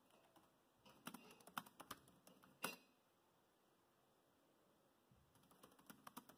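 Fingertips type and tap on the plastic chiclet keys of a dark grey laptop keyboard, giving sharp, bright clicks in two bursts separated by a quiet pause of about two seconds. A faint steady high tone hums underneath throughout.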